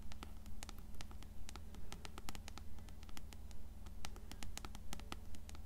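Long fingernails tap and scratch the cover and spine of an upright, closed blue paperback copy of Coraline. The result is a steady, fairly regular patter of short, crisp clicks and light scratchy strokes with bright edges, over a constant low hum.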